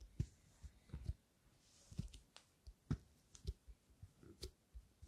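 Long fingernails tap and click on a medium-sized, hollow clear plastic spray bottle with a blue plastic cap, partly filled with clear liquid, held in front of a stereo microphone. Soft, dull, low taps mix with brief bright clicks in an uneven rhythm. Each hit dies away almost instantly, leaving a quiet, dry series of taps.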